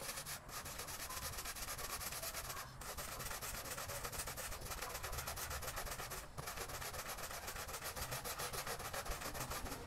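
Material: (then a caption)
Textile. A small patterned pile rug lies flat on a wet floor, soaked and covered in muddy foam, and is scrubbed back and forth with a long-handled green push broom. The result is a steady, wet rubbing and scraping with rapid rhythmic brush strokes, a bright hiss over a low rumble, and only brief pauses.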